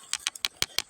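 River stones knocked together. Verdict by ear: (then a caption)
Dull. Ordinary river stones are knocked together six times, each a short, sharp, high-pitched click that dies away at once. The taps sound plain and dull, unlike the ringing iron stone they are compared with.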